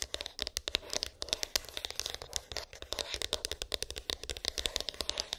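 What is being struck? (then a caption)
Small cardboard phone box. Long pink acrylic nails tap and scratch a small, hollow white cardboard iPhone box with an embossed, textured lid; its contents are unknown. The result is a quick, dense run of sharp, dry clicks and scratchy rasps, bright and centred near 3.8 kHz with almost no low end. Each hit dies away instantly.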